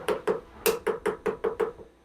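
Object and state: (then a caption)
Machined aluminum part not seated flat in vise. An aluminum part lightly clamped in a steel vise is tapped with a hammer, giving a quick series of eight short, tingy taps with a ringing tone near 445 Hz. The hollow ting shows the part is not sitting flat on the vise deck, either lifted or resting on a chip underneath.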